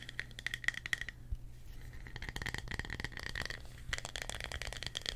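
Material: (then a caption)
Wood. A small, solid, thick round slice of tree trunk, with bark on the edge and its cut face showing rings, is held in both hands and tapped and scratched with fingertips and short nails. Quick, dry taps that die away at once are mixed with scratchy rasps and a bright edge, all over a steady low hum.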